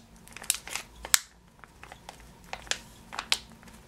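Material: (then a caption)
Plastic. Fingernails scratch and fingers crinkle a full, clear plastic bag of yellow sugared almonds, first on the label side and then on the front. Bright, crisp crackles and sharp plastic snaps stand out against a quiet background, with short pauses between bursts.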